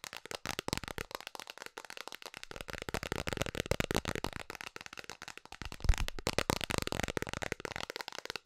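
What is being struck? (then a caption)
Round plastic container lid. Long nails tap rapidly on a round, hollow blue plastic container lid held in both hands. The result is a fast, continuous stream of dry, clicky plastic taps with a hollow low thump under them and very little ring, and one sharper, louder tap stands out about two-thirds of the way through.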